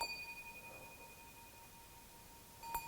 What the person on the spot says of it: you can hear it rings super nice